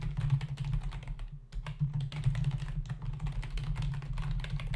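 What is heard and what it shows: Fingertips of both hands tap rapidly on the hollow plastic key caps of a black plastic membrane desktop keyboard, making a dense stream of short, bright clicks with a brief lull around 1.5 seconds. A steady low hum near 137 Hz sits under the typing throughout, and each click dies away almost at once.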